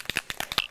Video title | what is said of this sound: Heidi Swapp- Create to Remember: Custom School Notebook | shake it until you hear the ball doing its work